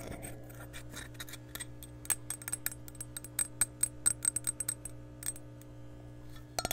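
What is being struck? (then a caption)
Glass measuring cup. A glass measuring cup is tapped and scratched around and over a microphone, giving a series of quick, bright clinking taps with very short ring over a steady low hum. The taps are closest together in the middle of the clip, and a final pair of taps lands at the end.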